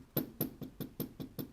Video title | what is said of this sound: Tenere 660’ın sonu geldi mi? / Eyvah.. | burada bu kadar vurduğumda Ses gelmiyor